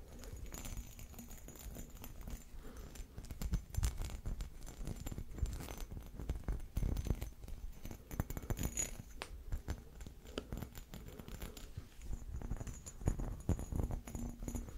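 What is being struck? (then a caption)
Small textured glass vase. Fingernails tap and scratch the textured surface of a small, hollow, empty glass vase with a round, dimpled body and a narrow neck, held close in front of the microphone. Quick, dry clicks and scrapes come in a steady, dense stream, with a soft low thump beneath them and little ringing after each touch.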